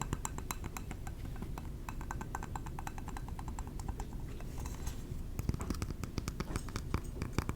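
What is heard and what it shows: A glass candle jar is tapped with the fingertips, producing a steady run of quick, light clicks and clinks with bright glassy edges over a low, dense rumble. The taps come in rapid clusters, growing slightly louder and denser toward the end.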